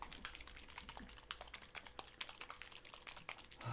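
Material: Acrylic paint.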